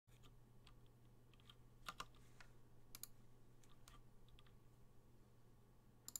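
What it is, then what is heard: Mechanical keyboard with PBT plastic keycaps. A Gingham 60% plateless through-hole mechanical keyboard with Gateron Black switches and cream and blue PBT plastic keycaps sits on a desk mat while both hands type continuously with their fingertips. Soft, short keystroke clicks with bright, crisp tops patter over a steady low hum, with a few sharper key strikes standing out.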